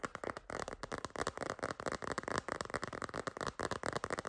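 A white floral silicone phone case with a wavy edge, held upright, is tapped and scratched with long green nails. A rapid, dense run of short clicky taps mixes with scratchy rustle, centered in the midrange around 1 kHz, with little low end and almost no ring.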